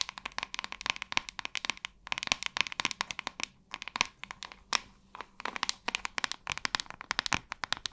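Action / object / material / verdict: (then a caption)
tap / plastic paddle hairbrush / plastic / none. Long nails tap and scratch the glossy flat back of a large white hollow plastic paddle hairbrush with a metallic-ringed handle. Dense runs of sharp, bright clicks with almost no ring fire in quick bursts, broken by brief pauses and faint scratching between the taps.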